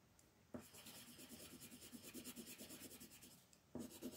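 The tip of a yellow wooden colored pencil, held in the hand, rubs and scratches across a thin paper page of a floral designs coloring book lying flat on a table in dense shading strokes. A soft, bright, papery scratching starts about half a second in, runs as a steady rasp with quick fluttering strokes, dips briefly, then returns louder and sharper near the end.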